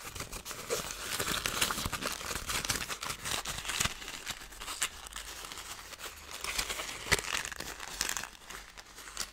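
Thin gold foil paper, crumpled into a loose ball, is squeezed and crinkled with fingers and long nails. A steady, dense run of bright, crisp crackles and rustles swells and eases throughout, with a few sharper snaps standing out.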